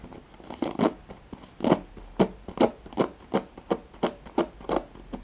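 Fingertips and nails scratch across the nylon pin bristles and plastic back of a handheld black oval plastic paddle hairbrush. A steady run of short, dry, raspy strokes follows, each a brief scratchy burst with a soft bristle rustle, repeating at a regular rhythm over a faint background.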